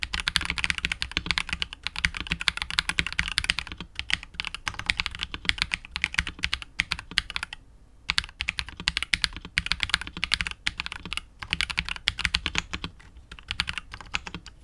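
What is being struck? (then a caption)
Mechanical keyboard with PBT keycaps and polycarbonate case. Continuous fingertip typing with both hands on a KBD67 Lite R2 65% mechanical keyboard with KTT Wine Red switches, PBT keycaps and a hollow, clear translucent polycarbonate case. The clacks are rapid, short and bright, centered around 2.1 kHz with little low end. Brief pauses come near 4, 8 and 11 seconds.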